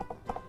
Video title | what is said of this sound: 퀴즈쇼 제주야 놀자 87화 | 이거는 투명한 소리야. 아주 잘 익은 수박이야.